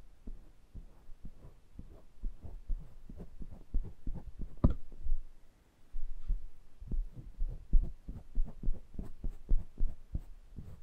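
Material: Metal.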